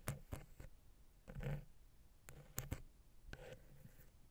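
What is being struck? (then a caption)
Metal microphone capsule head, wooden pick. A wooden ear pick tip taps and scratches between and on the capsules of the silver metal X/Y microphone head on a Zoom H6. Seven sharp, close taps land as dull low thumps with bright clicks, broken up by soft, rasping scratch swells. The sound is quiet and dry, and each tap stops at once with no ring.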